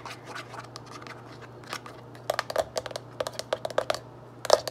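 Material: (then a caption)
Cardboard. Fingertips and long nails tap and scratch the front and side panels of a medium-size printed cardboard Arm & Hammer litter deodorizer box, closed and likely full of powder. Soft, quiet scratching fills the first two seconds, then a run of sharp, dry taps sounds out. Each tap is a brief midrange knock near 590 Hz that stops almost at once, with no ring.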